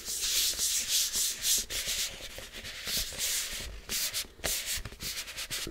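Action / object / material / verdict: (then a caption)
scrape / plastic supplement tub with screw lid / plastic / none. Fingertips rub the black plastic screw lid and the side of a large white plastic supplement tub. The result is a bright, airy scratching hiss in uneven back-and-forth strokes, with almost no low end.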